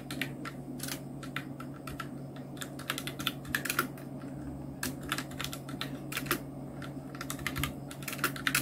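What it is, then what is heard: Plastic mechanical keyboard. Continuous two-handed fingertip typing on a full-size black Nubwo Illution NK-70 mechanical keyboard with Outemu red switches, round plastic keycaps and blue backlight. Quick, bright plastic clacks come in irregular bursts with short decays, over a steady low hum.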